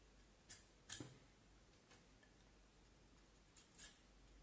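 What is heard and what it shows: A small knife scrapes and carves the top end of a solid vine wood handle held upright. Four short, bright scraping clicks stand out against a quiet, steady background hiss, with two close together near the start and two near the end.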